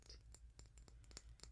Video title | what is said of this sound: Quartz ASMR | it sounds awesome when you tap on it